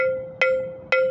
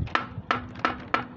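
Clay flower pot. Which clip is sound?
The first.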